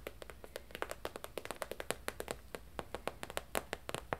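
A medium, flat holographic plastic/vinyl zip travel pouch is held up and tapped and scratched with long nails. About thirty quick, dry taps follow one another with almost no ring, each with a hollow plasticky body around 480 Hz and bright, crinkly tops. A quiet, steady low hum runs underneath.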